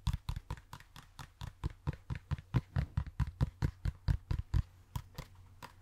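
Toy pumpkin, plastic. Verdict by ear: Hollow.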